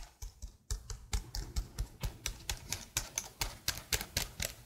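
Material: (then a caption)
Plastic. Fingertips with long blue nails type rapidly on a detached black plastic laptop keyboard held close to the microphone. About 22 quick, dry clicks sound in an uneven rhythm, each a bright tap over a low thud that stops almost instantly.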